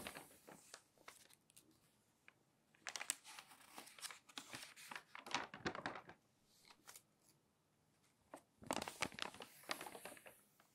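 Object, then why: Glossy paper magazine. Fingernails pinch and flip the pages of a thick, open glossy magazine, and a hand smooths them flat. Quiet, crisp, bright crinkling and rustling come in irregular clusters of short snaps, with louder bursts in the middle and near the end, separated by soft near-silent pauses.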